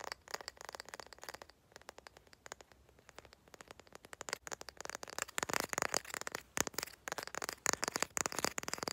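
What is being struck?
Wooden candle lid.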